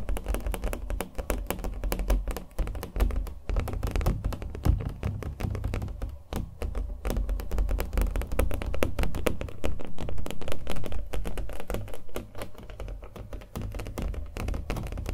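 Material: Canvas.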